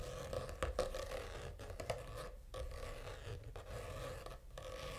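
A purple faux-leather notebook cover with a reptile texture, lying flat, is scratched with short fingernails. The result is a continuous dry, rasping scrape with a steady tone near 520 Hz, broken by several brief, sharper clicks in the first two seconds.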